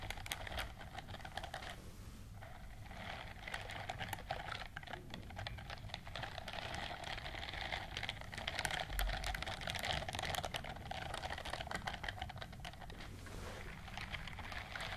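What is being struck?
Silicone scrubbing glove with bristles.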